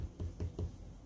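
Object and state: Baked bread loaf, hollow (done).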